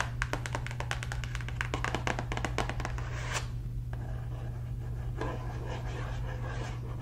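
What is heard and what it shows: A hollow, family-size printed cardboard cereal box is held upright in one hand and tapped and scratched on its front face with long red acrylic nails. A quick run of light, crisp taps fills the first three seconds, then gives way to softer, sparser scratching, all over a steady low hum.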